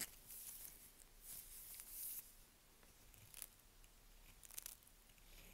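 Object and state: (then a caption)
Dry bar of soap, scraped. A dry, pale yellow-green bar of Svoboda "Green Tea" toilet soap, held in a gloved hand, is scraped with the tip of a small curved knife, shedding fine powdery shavings. Quiet, crisp scraping and crunching come in bright, hissy bursts that are mostly high in pitch and fade almost instantly.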